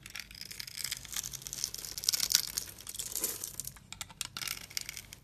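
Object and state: Bar soap being cut and scraped.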